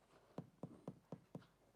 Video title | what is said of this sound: You just CAN'T miss this EXTREMELY tasty recipe!!! | can you hear that Hollow sound that's a good sign that means that our bread is well